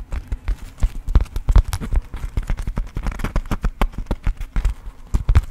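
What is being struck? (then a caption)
Coated-fabric zip pouch. A small, soft, pink floral Marimekko coated-fabric zip pouch is tapped and scratched with long acrylic nails. About thirty quick, dull taps land in an uneven rhythm, each with a brief bright click and very little ring. Soft scratching fills the gaps between them.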